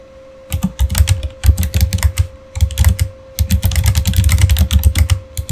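Fingertips type steadily on a backlit Razer Fire mechanical keyboard with plastic keycaps, producing rapid bursts of deep, thocky keystrokes with bright clicky tops and brief pauses between runs. A faint steady hum sits underneath throughout.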